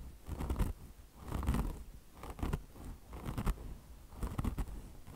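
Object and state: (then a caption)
Mesh-covered foam car wash sponge being scratched. Long blue fingernails on both hands scratch a beige mesh-fabric chenille car wash sponge, which has a polyester mesh top over foam. Repeated bursts of dry, rasping scratches come roughly once a second, with a soft, muffled low-end body and short, crackly flicks between the louder strokes.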